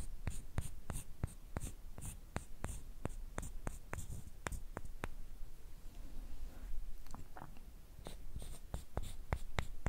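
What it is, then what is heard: Wooden sticks. Two thin, flat, light, solid wooden sticks, each about hand length, are rubbed and scraped against each other. This makes a run of short, dry, bright clicks and scratches over a low, steady rumble, with a quieter, softer scraping stretch midway before the crisp ticks return.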